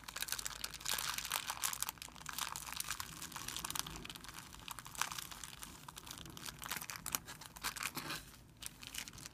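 A hand crumples a thin, clear plastic film bag on a white surface while fingertips rub it. The result is a dense, continuous, bright crinkling and crackling, with sharp, quick snaps and very little low end.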